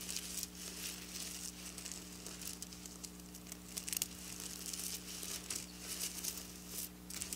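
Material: Sequins.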